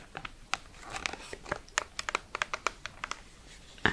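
A hand-sized plastic blister pack with cardboard backing, holding a sunscreen tube in a clear plastic blister on a printed cardboard card, is crinkled and tapped with long red nails. About eighteen short, bright, crisp clicks sit over a soft crinkling rustle, with the clicks peaking around 1.8 kHz and dying away almost at once.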